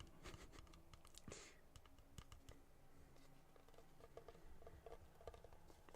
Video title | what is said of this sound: ASMR - DJ Hypes You Down! -- Sleep Aid | It's hollow. And it's made of wood and a little bit of metal. It sounds hollow.